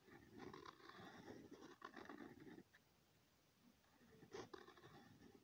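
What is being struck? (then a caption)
Pen tip on a sheet of lined notebook paper. A pen tip scratches looping circles onto a thin, flat sheet of lined notebook paper, making a rough, raspy scratching that pulses with each stroke. The scratching runs for over two seconds, drops to near silence for about a second, then returns with a few sharper, brighter strokes.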